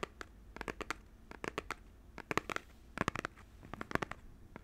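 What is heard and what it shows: A small cardboard Joy-Con controller box is held in one hand while fingernails scratch and tap its front and edges. The result is a quick, dry series of sharp clicks and scratchy ticks with no ring, coming in clusters over a faint low rumble.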